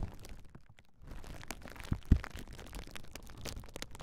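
A large clear plastic bubble wrap sheet with hollow air bubbles is held taut across a pair of Rode NT5 microphones while long nails and fingertips press, scratch and pop the bubbles. Soft crinkling and scratching run throughout, dipping briefly near the start, then a smaller pop leads into one sharp, loud pop just past the two-second mark. The sound is close and heavy in the low end.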